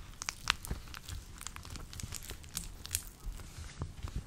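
A pair of long teal rubber household gloves, apparently still dry and worn on both hands, is rubbed, clasped and slid together. The rubber-on-rubber friction gives quiet, irregular squeaks and crinkling, tearing-like rasps with bright, brief peaks over a low rumble. The sounds come in short overlapping bursts with almost no ring.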